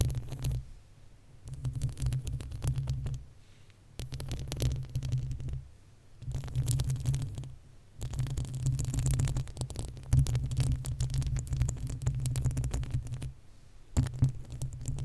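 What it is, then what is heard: Metal microphone grille being scratched. Long acrylic nails on both hands scratch the uncovered, hollow metal mesh grille of a desktop condenser microphone. The result is a deep, booming rumble with a throbbing character, heard in rapid bursts of scratching separated by short pauses, with faint high scraping above.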